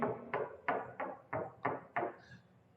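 Six quick knuckle knocks on a house wall, short and dull, with a faint room echo.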